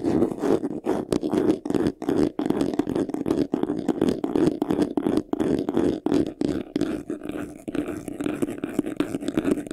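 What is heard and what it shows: Short nails scratch fast across the front face, near the top, of a medium white vanity case: a hollow box covered in textured faux leather, with a handle. The result is a rapid, uneven run of dry, raspy scratching bursts with a hollow body centered around 300 Hz. Each stroke stops dead with no ring, broken by brief pauses.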